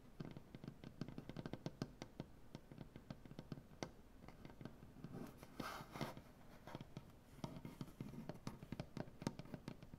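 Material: Wood.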